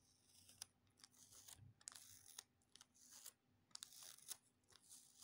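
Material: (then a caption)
Plastic. A small crumpled piece of clear plastic sticky tape is pinched between fingertips and repeatedly pressed, stuck together and peeled apart. Each pull gives a quiet, bright crackling rasp, punctuated by sharp, high clicking pops as the adhesive lets go.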